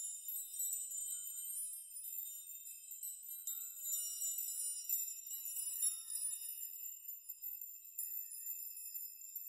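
Hands grasp and rock clusters of many long hanging steel nails on a steel nail chime so they clink together. The result is a quiet, continuous stream of irregular, bright metallic tinkling with sustained high ringing overtones and no low end.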